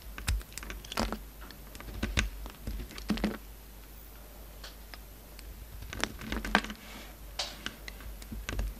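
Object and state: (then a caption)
Bar of soap being shaved. A yellow-handled utility knife blade shaves an oval solid bar of soap with an orange coating and a pink interior, held in the hand. Crisp, dry scraping and clicking bursts come in short clusters, each cut giving a brief bright crackle over a low background hum, with quieter pauses between them.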